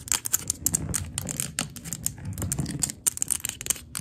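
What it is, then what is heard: Glass candle jar tapped with nails. A large glass candle jar filled with pale green wax lies on its side on the floor while long gold glitter acrylic nails tap and scratch its glass walls. Quick, dense clicks with bright, glassy high ticks come over a low rumbling scratch, each tap dying almost instantly.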